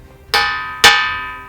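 A boulder of ringing rock in a rock pile is struck twice, giving two loud bell-like, cowbell-type tones. Each strike has a sharp attack, and the bright, metallic ring holds steady and decays slowly. The tone sits around 1.8 kHz with strong upper overtones.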